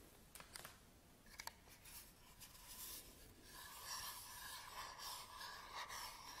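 Fingertips and short nails scratch and rub the surface of a small, hollow, empty black plastic camera battery charger as it is held in both hands and turned over. A few sharp clicks come first, then a steady bright, dry scratching that grows louder, with a faint tonal edge near 1 kHz.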